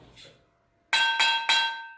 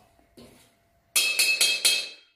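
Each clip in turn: First: Three quick knife knocks on a cast iron wok give a bright clank that fades fast and sounds loose. Second: Four sharp knife knocks on a wrought iron wok give a bright, crisp ring with clear high tones.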